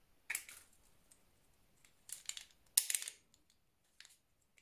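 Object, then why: Round soap bar. A solid orange round soap bar, held in hand, is scored and carved with a blue utility knife blade. The clip is quiet, with three main bursts of bright, crisp scraping and crackling, the last one the loudest, separated by faint small ticks and almost no low end. The scratching cuts shed soap powder.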